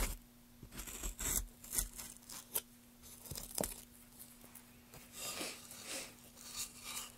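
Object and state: Wooden block being carved.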